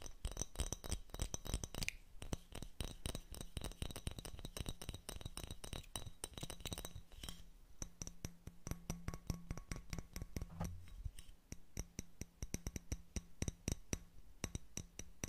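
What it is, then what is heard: Small glass bottle. Fingernails tap rapidly on a small glass bottle with a pink metal cap held in the hands. The result is a steady stream of quick, bright clinks that die away almost at once, over a faint low hum.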